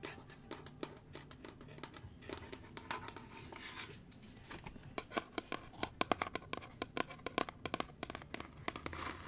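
Fingernails tap and scratch the top and sides of a small, hollow, light-wood box with a metal latch held in the hands. Soft scratchy rasping in the first half gives way to a quick run of short, dry, hollow clicks with a woody midrange tone and bright edges. Each tap stops at once with no ring.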